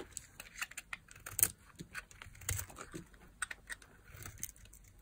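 A small metal blade carves a solid, palm-sized white bar of dry soap held in one hand with long nails, shaving off thin flakes. A quick series of short, dry, crisp scraping and cutting sounds follows, bright and papery, each dying away almost instantly over a soft low rustle.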